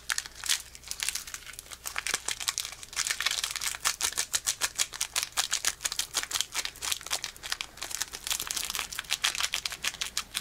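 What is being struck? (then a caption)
Foil-plastic card booster pack. Fingertips crinkle, pinch and tear the foil wrapper of a small, partly opened foil-plastic Pokémon booster pack held close to the microphone. Dense, bright crackles and sharp rustling snaps run steadily throughout with almost no low end, each burst dying away almost instantly.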